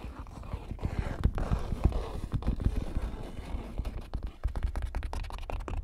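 Fingertips tap and scratch across the surface of a large stretched canvas print. A steady, dry scratching rustle runs throughout, broken by a quick series of short, dull, low thumps from the taps on the taut canvas. The thumps stop almost instantly with no ring.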